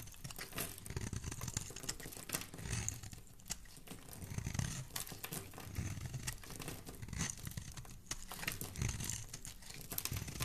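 A solid, rectangular, embossed pink soap bar held in the hand is scraped and shaved with a metal utility blade, curling shavings off its surface. The clip is a steady, quiet run of dry, crisp scraping and crumbly crackling with bright high edges over a soft low body. It swells and eases throughout with no pauses.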